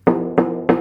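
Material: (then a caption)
Metal. Three knocks on an empty metal fuel tank of a Kenworth W900 truck, each giving a hollow, ringing tone around 250 Hz that fades quickly. The tank holds no fuel, since the fuel is all on the other side, and it has to come off to be repaired or replaced.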